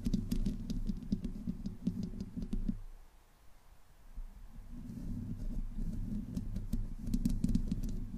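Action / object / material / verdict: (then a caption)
scrape / metal mesh microphone grille / metal mesh / none. Long nails scratch and tap the sides of the bare metal mesh grille on a black condenser microphone. The result is a dense, boomy low rumble with rapid, uneven clicky taps. The sound drops to a near-silent hush for about two seconds midway, then the scratching builds back up.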